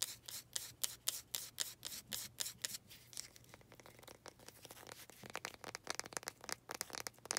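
Long red nails scratch and rub along the grain of a small faceted wooden planter pot. Bright, dry scratching strokes come in quick, uneven bursts, ease into a softer continuous rubbing midway, then pick up again as rapid scratches.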